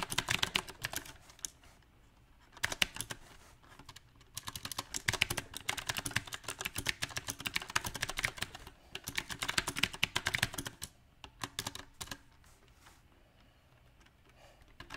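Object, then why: Mechanical keyboard with round plastic keycaps. Fingertips of both hands type on a compact backlit mechanical keyboard with round plastic typewriter-style keycaps. The result is bright, crisp clicks that come in irregular bursts of fast typing, separated by short quiet pauses.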